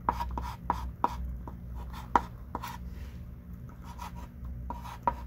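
A hand writes lines with a thick pink chalk stick on a small wooden-framed chalkboard lying flat. About nine short, sharp chalk taps and scratchy strokes stand out over a steady low hum, each with a brief midrange click that fades almost instantly.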